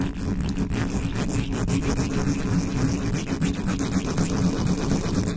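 Fingertips and long nails scratch fast across the top of the hollow metal mesh grille of a black condenser microphone with no cover on it. The result is a dense, continuous rumbling scrape dominated by low frequencies, with a steady buzzing tone around 200 Hz and faint scratchy texture above. The level stays fairly even throughout.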